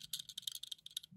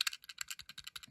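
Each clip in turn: First: metal base of a die-cast model car. Second: plastic base of a die-cast model van.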